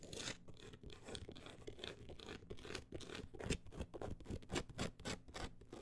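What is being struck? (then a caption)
Closed book with an embossed woven-texture cover. Long acrylic nails scratch fast across the woven-look embossed cover of a solid, closed book. The sound is a rapid, uneven stream of rough scratching strokes, with a low, thumping body under bright, hissy bursts that rise and fall throughout.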